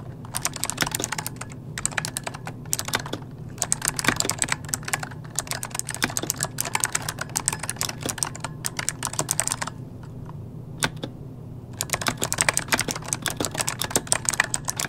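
Both hands type rapidly with their fingertips on an RGB-lit plastic mechanical computer keyboard with hollow key switches, resting on a desk. Quick bursts of sharp, bright clicks and clacks are broken by brief pauses and a longer lull near the end, over a steady low hum.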